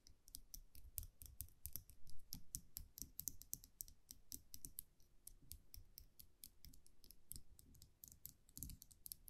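A small wire champagne muselet with a round metal cap is held in the fingers while long nails tap and scratch the cap. Rapid, bright metallic clicks and ticks come in a dense, irregular stream with soft low thumps beneath, each click dying away almost instantly.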